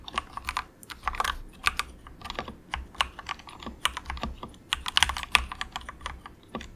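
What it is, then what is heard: Plastic mechanical keyboard being typed on. Fingertips of both hands type soft, quick taps on a cheap compact mechanical keyboard with grey and orange plastic keycaps and a hollow plastic case. The keystrokes land as short, bright, clacky plastic clicks in an irregular, flowing rhythm, each dying away almost instantly over a faint low hum.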